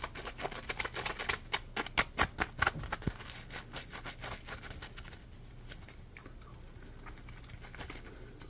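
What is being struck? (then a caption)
Polymer foam sponge. Fingertips scratch and squeeze the textured surface of a palm-sized, yellow Scrub Daddy sponge made of solid polymer foam, held in both hands. Quick, dry, crackly scratches and taps run in an uneven patter, sharpest and loudest in the first three seconds, then fading to softer, sparser rustling over a faint low hum.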